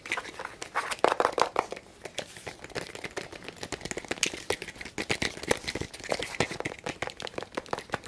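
Fingertips and nails scratch and tap a small, hollow, black plastic tape measure case held close to the microphone, with the hands partly covering it. The result is a dense run of quick, dry clicks and crinkly scratching with a bright edge and little low end, a louder cluster of taps near the first second, then a steadier patter.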